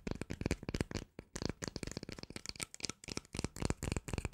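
A small cylindrical plastic cream jar with a green label and a black lid is held in both hands and tapped with long nails on the lid and sides. A rapid, uneven run of about 21 short, dry clicks and knocks follows, each dying away almost at once. The taps carry a hollow low body alongside bright clicky tops.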